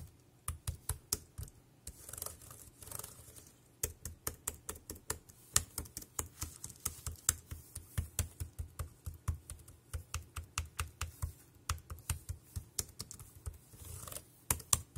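Fingertips type on the keys of a dark grey plastic wireless keyboard, seen close up. There are about 35 short, sharp clicks in an uneven rhythm, each with a dull low thump and a bright tick that stop almost at once. Faint soft rustling fills a few of the gaps.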